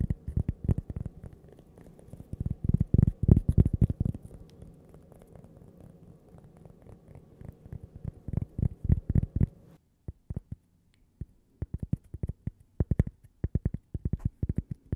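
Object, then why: Thin cork coaster. A thin, solid toast-shaped cork coaster with a logo, held close to the microphone, is scratched and tapped with long purple nails. It makes rapid bursts of dull, low, muffled taps with a soft scratchy undertone. After a brief pause the taps return more sparsely.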